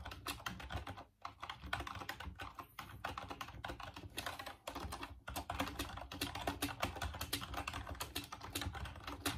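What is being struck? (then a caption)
Plastic computer keyboard. Fingertips type steadily on the keys of a full-size off-white plastic Dreamcast computer keyboard. The result is a dense stream of quick, dry plastic clicks and clacks with a bright edge, broken by two brief pauses near the start and middle.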